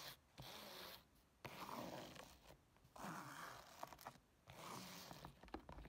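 Long nails scratch quickly across the woven fabric of a black textured nylon case, first while it stands and then once it is lifted. The result is four bursts of dry, bright, rasping scratching separated by brief quiet pauses.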